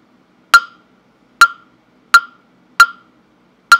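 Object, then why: Carved wooden fish block struck with a mallet. A hollow carved wooden mokugyo fish block with a slot opening, held in hand, is knocked five times with a small round-headed mallet at uneven intervals. Each strike is a sharp, dry wooden knock with a clear hollow tone near 1.4 kHz and a bright click on top. It fades within a fraction of a second into near silence.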